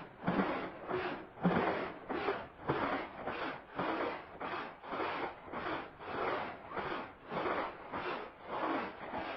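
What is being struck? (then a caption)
Woven fabric rug scrubbed with a plastic-bristle broom. A green plastic-bristle push broom scrubs a small oval red fringed woven fabric rug that lies flat, soaked and soapy, on a concrete floor. Steady back-and-forth strokes give a wet, rasping swish with a soft, slightly squelchy low body. The strokes swell and fade in a loose rhythm throughout.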